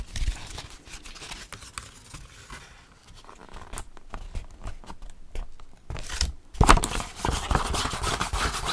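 Fingertips and nails scratch the cover of a small folded paper/card Paris metro map booklet held in the hand, making soft scratching and crinkly paper sounds. The scratching stays quiet through the middle, then grows louder with brighter crinkling rustle near the end.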